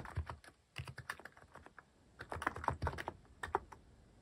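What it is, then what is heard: Mechanical keyboard typing. Fingertips type on a cream plastic-cased mechanical keyboard fitted with cat-themed plastic keycaps. Quick, uneven runs of keystrokes land with a low, muted thock and a short clack, each dying away almost at once. A brief pause separates two bursts of typing.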